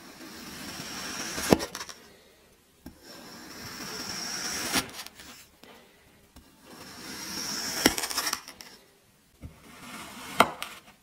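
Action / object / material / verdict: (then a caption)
scrape / kinetic sand block cut with a metal knife / kinetic sand / none. A hand-held metal kitchen knife slices a teal kinetic sand block into cubes. Four slow strokes each build into a bright, grainy crunching hiss that ends in a sharp snap as the blade cuts through. Brief light taps fall in the quiet gaps between strokes.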